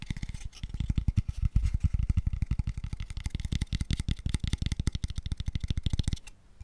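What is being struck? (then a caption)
Small open-ended wooden square tube. A small, light, empty wooden square tube box, hollow, open-ended and pale, is held close to the mic and tapped very fast with fingertips and nails. It gives a rapid, steady run of short, deep, hollow knocks, each dying away almost at once, with faint bright clicks from the nails. The tapping stops just before the end, leaving a quiet tail.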